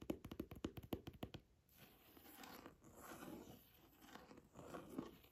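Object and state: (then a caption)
Leather-bound book cover. Fingernails and fingertips tap quickly on the dark leather cover of a small old hardcover book with a gold embossed ornament, held closed, making a run of sharp, dry clicks. The tapping then gives way to soft, uneven scratching and rubbing across the cover, with faint bright hiss and a few light knocks.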